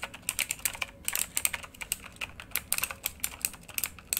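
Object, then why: Mechanical computer keyboard, plastic keycaps. A full-size backlit RGB mechanical computer keyboard with plastic keycaps on a hollow housing, lying flat, is typed on rapidly with the fingertips of both hands. Quick, bright, clicky keystrokes tap out in an uneven rhythm, each decaying almost instantly, with little low-end body beneath the crisp high clatter.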